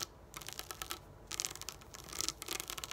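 Long nails tap rapidly on the plastic domes of a flat pop-up dot sticker sheet lying on a table. Quick, bright, crisp clicks come in three clustered bursts separated by short quiet gaps. Each tap is dry, with almost no low end and no ring.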